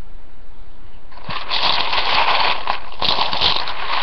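Fingertips with painted nails dig and rummage through a large ceramic bowl full of dry, uncooked spiral rotini pasta. After about a second of faint low rumble, a dense, bright rustling and crunching begins as the hard pieces rub and click together, and it continues steadily to the end.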